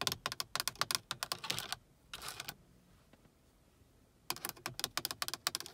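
Long acrylic nails tap and scratch the grey plastic housing and clear plastic lenses of an overhead car dome light console with a button, mounted in the roof. About two dozen rapid, bright, dry clicks come first, then a brief scratchy rasp. After a near-silent pause, another quick run of taps follows.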